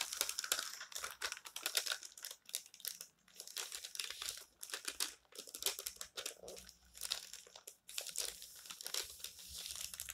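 Fingers crumple the corner of a page in an open, colorful paper magazine lying on a table, then turn the pages and flatten them with the palms and fingertips. Dense, bright crinkling and papery rustling come in bursts of sharp crackles, separated by brief quiet pauses.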